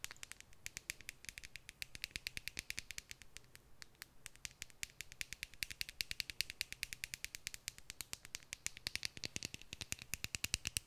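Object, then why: Clear plastic tube filled with glitter. Long nails tap and scratch quickly on a small clear plastic tube full of red glitter held in both hands, making a steady stream of sharp, bright plastic clicks that die away almost at once. A faint low hum sits underneath the ticking.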